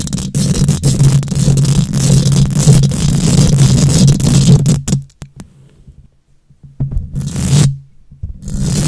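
Long nails scrape and scratch across a hollow wire-mesh metal microphone grille, producing a dense, rough scratching with a heavy low rumble and a bright, hissy top. The scratching runs steadily for about five seconds, drops to near silence with a few faint ticks, then returns in a short burst and starts again at the end.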